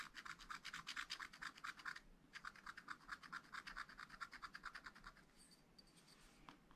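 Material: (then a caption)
Coated paper. A pointed wooden stylus scratches lines into the black wax-coated sheet of a spiral-bound scratch art pad lying flat on a table, while the other hand holds the pad. Quick, dry, raspy strokes repeat a little over twice a second, with a bright, scratchy tone centered in the upper midrange and reaching high. The strokes pause briefly near the two-second mark, then resume and fade to softer, sparser scratches by the end.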